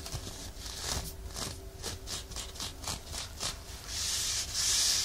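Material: Nylon.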